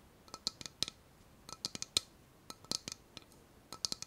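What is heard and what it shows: A small, empty, hollow white ceramic bowl with a tropical floral print is held in both hands while long nails tap and scratch its outside wall and rim. About seventeen quick, sharp clicks ring out with a bright, high tone, each dying away almost instantly over a quiet background.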